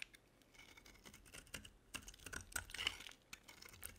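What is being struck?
Bar of soap cut with a metal blade.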